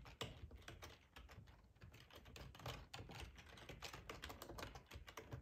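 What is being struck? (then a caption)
Plastic computer keyboard. Fingertips with short nails type on a hollow black plastic ergonomic split keyboard resting on a plaid tablecloth. A quiet, rapid, uneven stream of soft clacky key taps with a low, hollow body and a bright click on top runs for about five and a half seconds.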